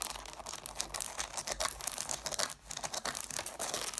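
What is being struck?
Stack of cloth-bound hardcover books.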